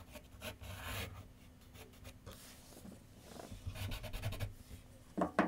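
A graphite pencil scratches and shades across a large white paper sheet mounted on a board on a wooden easel with solid backing. Soft, dry rasping strokes and longer rubbing passes come in short bursts over a low hum, ending with a few sharper, louder scratches.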